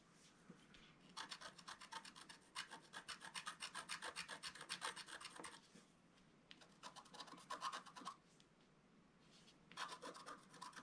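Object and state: Scratch art paper page.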